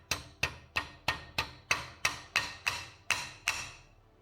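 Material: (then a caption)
Metal. Eleven light taps of a flat body hammer drive a metal fuel injector inlet filter into the injector inlet of an Evo 8/9 injector. The taps are short and bright with a ringing tone that turns into a louder clang in the later strikes, showing the filter is fully seated flush with the inlet. Background music sits under the taps.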